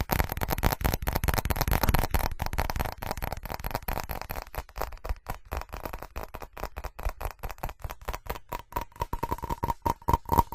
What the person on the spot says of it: FAST Tapping & Scratching On Ceramic [No Talking]